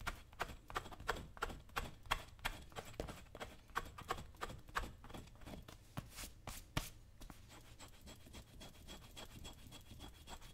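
A dull metal chisel is scraped along the leather upper of a worn brown leather lace-up work boot, held by one hand on a shoe-shine stand. Quick, fairly regular scraping strokes, about three per second, give short dry rasps with bright edges over a low rumble. After about seven seconds the strokes turn softer and blur into a quieter, steadier scrape.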